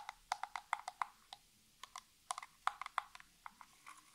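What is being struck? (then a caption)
Small cardboard box. Long natural nails scratch and tap along the surfaces of a small, hollow, printed cardboard nail polish box as it is turned in the hands. About nineteen short, dry taps and scrapes come in irregular bursts, each ending almost instantly, with a hollow papery click centered near 900 Hz and bright edges.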